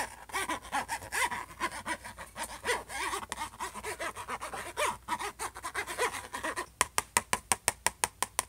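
The tip of a plastic ballpoint pen scratches across the surface of a closed silver HP laptop lid in rough, rhythmic strokes, with squeaky, whistling rises and falls in pitch. It then switches to a quick, even run of sharp, dry taps that stop short with almost no ring.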